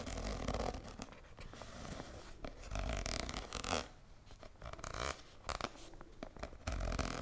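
A hand-sized red soft plastic cosmetic squeeze tube with a white cap is held in both hands and scratched along its surface with long nails. The result is a steady run of dry scratching and crinkly rustling, with several louder, brighter bursts of scraping between quieter stretches.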